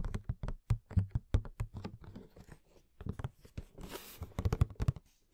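A fingernail taps on the sides and plastic window of a hollow cardboard Madame Maxime Funko Pop box with the figure inside. The quick, irregular taps sound dull, low and hollow, each dying away almost instantly, with a brief bright, scratchy rustle near the end.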